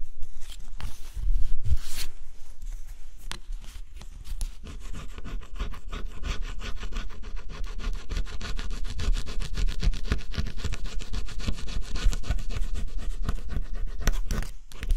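A small flat metal scraper held in the fingers scrapes the black scratch-off coating from a flat, solid cardboard jigsaw puzzle resting on black cloth. Quick, uneven scratching strokes run almost continuously, with a few louder scrapes near the start, giving a dry, gritty rasp throughout.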